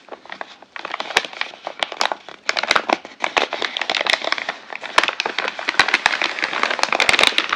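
A large, hollow, flexible brown kraft-paper Amazon mailer bag is held and crinkled by fingertips and hand. Dense, bright crinkling and crackling fills the clip, scattered with sharp papery snaps and little low end. It builds from softer rustles to a steadier, louder crackle.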